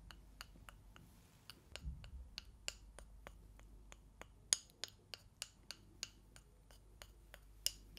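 Two thin, solid, light wooden sticks, like chopsticks, are held in front of the microphones and tapped and rubbed against each other by hand. The result is a quiet, irregular series of sharp, dry, bright clicks that stop instantly with no ring, plus a brief soft rubbing sound between them.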